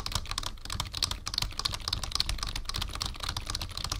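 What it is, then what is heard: Plastic computer keyboard being typed on. Fingertips of both hands type quickly on a black full-size plastic membrane keyboard with a numpad, resting on a wooden desk. A steady stream of short, dry key taps pairs bright clicky ticks with soft low thumps. Each tap dies away almost instantly.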